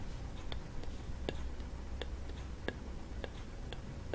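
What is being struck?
Coconut shell kalimba with wooden soundboard.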